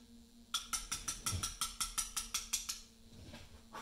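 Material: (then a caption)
Limestone. A carver taps a chisel into a large, solid Portland limestone memorial slab with a mallet. Thirteen quick, bright, sharp taps come in a slightly uneven rhythm, each dying away almost at once, followed by a quieter pause and the start of another tap at the very end.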